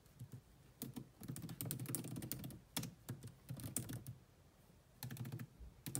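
Fast typing with long manicured nails and fingertips on a grey laptop's dark plastic chiclet keys, its hollow body giving each keystroke a low, hollow thump under a bright clicking tick. The keystrokes come in rapid bursts separated by brief pauses, each one dying away almost instantly.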